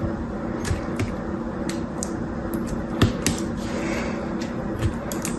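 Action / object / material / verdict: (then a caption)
scrape / bar of soap cut with a knife tip / soap / none. A knife tip cuts and scrapes into a solid, dry blue bar of soap held in one hand, breaking off pieces. Sharp, bright crackling snaps and scratches recur over a steady low hum.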